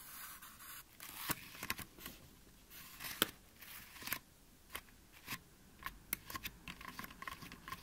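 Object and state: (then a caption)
Styrofoam mannequin head. Fingertips and short nails of both hands tap and scratch the top and sides of the scalp of a white, life-size styrofoam mannequin head with ears, made of light, solid foam. Soft, dry, bright scratching runs under quick, sharp taps that die away almost instantly.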